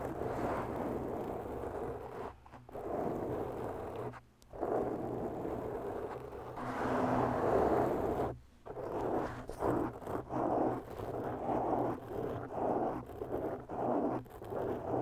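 Long bare natural nails of both hands slowly scratch a rounded black foam windscreen on a microphone, its soft porous surface giving a close, muffled, raspy scraping. The scratching comes in long continuous strokes broken by brief silent pauses, then turns into shorter, choppier scrapes toward the end, with a steady low hum underneath.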